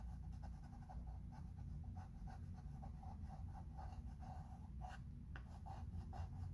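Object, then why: Chalkboard with wooden frame, chalk pencil. A chalk pencil held in the fingertips is rubbed and scratched across a medium, solid, flat chalkboard in a thin wooden frame while writing letters. Quiet, soft scratchy strokes repeat in short bursts over a steady low rumble throughout.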